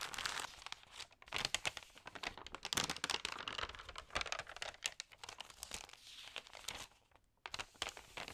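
Fingertips press and rub across the pages of a thin, damp paper magazine and turn them, producing dense, bright crinkling with little low end. The sound comes in uneven close-up bursts, with a brief near-silent pause just before the final crinkles.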